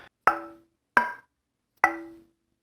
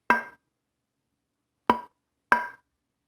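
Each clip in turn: First: wenge and walnut guitar neck with ebony fretboard, tap tone. Second: maple and walnut guitar neck with a bright tap tone.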